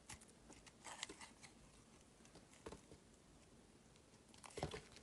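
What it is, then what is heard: Bar of soap being carved. A metal blade cuts and shaves slices off a solid dark grey soap bar held in both hands. Quiet, dry scraping and crisp crackling ticks come in short clusters, with brighter, louder carving strokes near 1 second, 2.7 seconds and 4.6 seconds.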